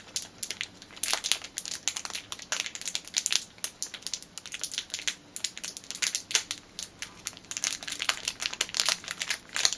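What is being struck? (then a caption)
Clear plastic bag with a rubber band inside. Fingers and nails crinkle a small clear plastic bag holding a black rubber band. Rapid, dense bursts of bright, crackly crinkling rise and fall throughout, with almost no low end. Each burst cuts off quickly, leaving a busy, sharp texture.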